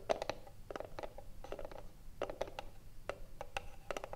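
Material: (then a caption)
Wood. Long nails scratch and tap the front face of a hollow, printed wooden cigarillo box held in both hands. Quick, dry taps with a hollow, mid-pitched knock come in uneven clusters, mixed with soft scratching and almost no ring after each hit.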